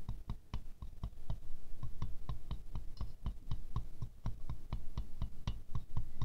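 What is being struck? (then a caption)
Glazed ceramic rose ornament. A wooden stick taps quickly down into the centre petals of a small ceramic rose ornament with a silver glaze. Each tap is a short, dry click with a low thud underneath and a bright tick on top, dying away almost at once. The taps come in a steady, fast stream throughout.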